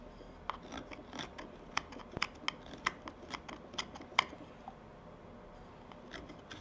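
A steel carving knife takes short shaving cuts into a hand-sized wooden tobacco pipe bowl with a faceted carved surface. Crisp, bright snicks and scratchy scrapes of blade on wood come at an irregular pace over a quiet background. Near the end only softer scrapes remain.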